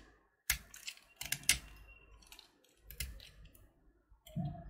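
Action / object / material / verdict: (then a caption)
scrape / candy-coated chocolate button / candy shell / none. A utility knife blade carves a small solid purple candy-coated chocolate button (Gems) held in the fingers, with purple shell flakes falling off. Short, bright scraping clicks come in irregular bursts between quiet gaps, ending with a lower, duller scrape.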